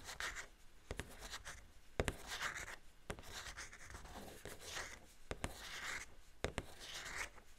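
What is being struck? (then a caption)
Cardboard box with clear plastic window. Long painted fingernails tap and scratch a Wicked Elphaba doll box held upright in both hands: a hollow pink and green printed cardboard package with a large clear plastic window, containing the doll. Sharp, dry clicks on the plastic window alternate with soft, hissy scratching strokes across the cardboard and plastic. The sound is quiet and close, and each tap dies away almost instantly.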